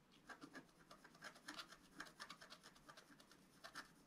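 A wooden stylus scratches the lower part of a flat, coated scratch-art paper card. The result is a quiet, dry series of short, raspy scraping strokes with a bright, papery texture and almost no low end.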